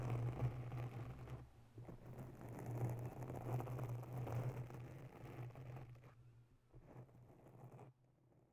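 Long bare nails of both hands scratch the top of a round grey foam windscreen on a mounted microphone. The result is a dense, soft, muffled scratching and rustling over a steady low hum. It gradually quiets and thins out toward the end.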